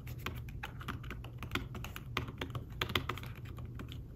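Fingertips with short nails type steadily on a thin, flat iPad Smart Keyboard-style folio keyboard with dark woven fabric-covered keys. The result is a run of soft, muted taps with quick, dry decay and brighter clicks on some strokes, over a steady low hum.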